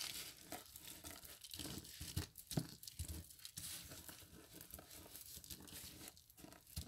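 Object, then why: Dry crushed soap flakes. Fingertips press and rub across a flat pile of dry crushed soap flakes on a patterned mat. The sound is a dense, irregular crunching and crinkling, with bright, gritty texture and some low thuds. Short crisp bursts come in quick, uneven succession and stop sharply without ringing.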